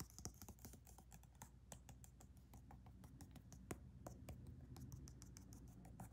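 Long nails rapidly tap and scratch the surface of a thick black leather weightlifting belt with white stitching and punched holes, held flat in the hands. Quick, soft clicks with bright, sharp tops patter over a low, steady rumble, with light scratching between the taps.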